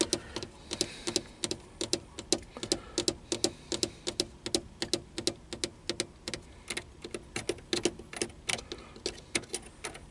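Fingertips tap the small push buttons on a black plastic car stereo faceplate set in a hollow console unit. About 48 quick, dry, bright clicks sound in an uneven rhythm over ten seconds, each dying away almost instantly.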